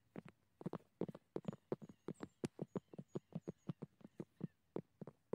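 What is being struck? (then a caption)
Dry weathered wooden log. Gloved fingertips tap a large, solid fallen tree trunk of dry, grey, weathered and cracked wood outdoors. About 25 short, dull knocks land in a loose, uneven rhythm, each with a low-mid body and almost no ring, while faint high chirps sound in the background.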